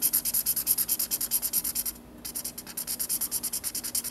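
A black marker rubs quick back-and-forth strokes across the white paper page of a spiral sketchbook while coloring in a drawing. Each stroke is a short, bright, hissing scratch, coming in a steady rhythm of about three per second. The strokes break off for a brief pause near the middle before resuming.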